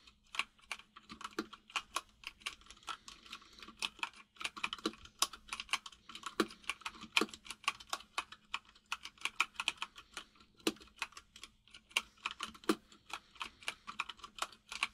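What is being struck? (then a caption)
Plastic mechanical keyboard. Fingertips of both hands type steadily on a full-size mechanical keyboard with white and grey plastic keycaps and a hollow case. The repeated key taps are short, bright and clicky, with occasional louder strikes over a faint steady low hum.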